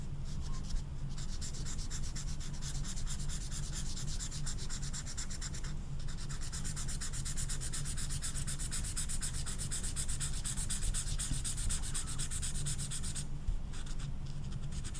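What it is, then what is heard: Marker rubbed on velvet-flocked paper. An orange felt-tip marker is rubbed over the velvet surface of a small, flat velvet-flocked paper poster card while coloring in a horse. It makes a steady, fast, scratchy rubbing with bright, papery texture over a low, constant hum. Brief pauses come near 1, 6 and 13.5 seconds.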